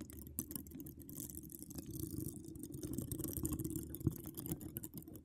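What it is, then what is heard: Metal mesh microphone grille being scratched. Long decorated acrylic nails scratch across a hollow metal mesh microphone grille. The result is a dense, muffled, low scraping rumble full of quick crackles and light ticks, with a brighter hiss above and one sharper click near the end.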